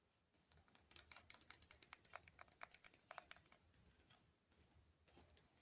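A Versace cologne bottle with a small raised face-emblem texture is tapped with long fingernails in a bathroom. About 19 quick, bright, high-pitched clicks sound in an uneven rhythm, with a dense run of taps in the middle that thins out to a few sparse clicks at the end.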